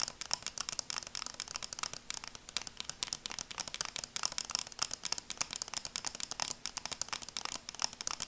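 Long acrylic nails tap and scratch quickly across a pair of red and black plastic sunglasses. The sound is a rapid, uneven stream of crisp, dry clicks and scrapes that are high and bright, with almost no low end. Each tap stops short with no ring.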